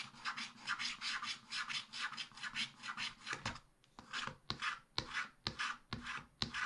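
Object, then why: Black-coated scratch-art paper scraped with a wooden stylus. A wooden stylus scratches the remaining black areas at the right and bottom of a black-coated scratch-art paper page. Quick, dry, bright scratching strokes run in a dense, steady rhythm for about three and a half seconds, then break into sharper, more spaced-out strokes with short pauses between them.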